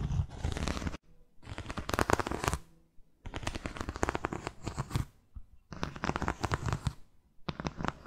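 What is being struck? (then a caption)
Cork-soled sandal with straps. Fingernails scratch the sole edge and straps of a white buckled sandal with a cork footbed, making rapid, dry, crackly scraping with a deep rumbling undertone. The scratching comes in several bursts separated by brief silences.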